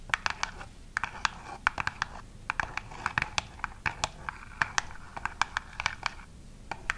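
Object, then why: Printed cardboard box. Long acrylic nails scratch and tap the flat surface of a long, narrow, flat printed cardboard hair color chart box or card showing rainbow hair-dye swatches, held upright in one hand. A quick, irregular series of crisp, dry clicks and short scratches sits in the mid-to-high range over a faint, quiet background, and each tap stops almost at once with no ring.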